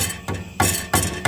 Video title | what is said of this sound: How to Fix Vibration/Rattle Noise on Truck | So, if we tap it, hear that rattling?